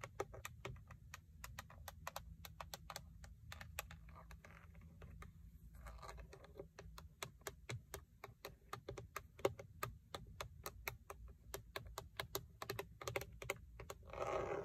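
Long acrylic nails on a hand wearing a ring tap quickly and steadily on the textured plastic airbag cover of a Toyota steering wheel hub with a chrome logo. The result is a rapid stream of sharp, dry clicks that stop almost instantly, over a faint low hum.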